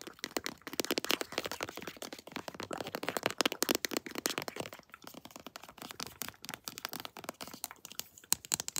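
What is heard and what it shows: A pink floral plastic lotion tube, held flat and then upright, is tapped with long nails in a rapid stream of crisp, dry clicks. The taps are bright and sharp with almost no low end, and each dies away instantly.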